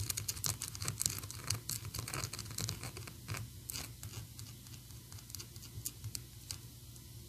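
A small, solid, painted PVC Sadness figure from Inside Out on a plastic base is tapped and scratched with long acrylic nails. Quick, irregular, dry clicks and scratchy rubs follow one another with no ring, bright at the top over a steady low hum. The tapping is busiest at the start and grows a little softer toward the end.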